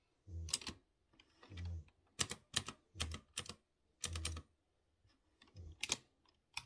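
Fingertips type on a typewriter-style mechanical keyboard with chrome-rimmed round keycaps over exposed blue switches. Bursts of sharp, bright clacks with a low thud under many presses, each dying out almost instantly, separated by brief pauses.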